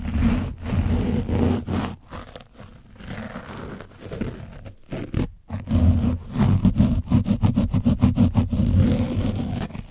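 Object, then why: Foam microphone windscreen coated in dried paint. The tip of a foam sponge brush scratches and dabs at an orange, dried-paint-coated foam mic windscreen, with some hand contact. The result is a muffled, bass-heavy rumble of rough scraping and soft thumps with almost no high end, broken by brief near-silent gaps. It ends in a quicker run of short, irregular dabs.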